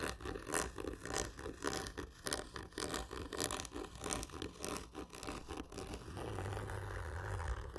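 Fingernails scratch a large, hollow, black printed cardboard whisky gift tube lying horizontally. Hard, slow strokes repeat in a loose rhythm, each a dry, broadband rasp with a hollow body from the tube. Near the end, the scratching blurs into a steadier, continuous scraping with a low rumble underneath.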